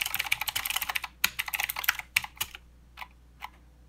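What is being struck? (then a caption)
Plastic mechanical keyboard. Fingertips of both hands type continuously on a plastic mechanical keyboard with clicky blue switches and plastic keycaps. The result is a rapid, uneven run of sharp, bright clicks with almost no low end that lasts about two and a half seconds. It then thins out to two last isolated clicks.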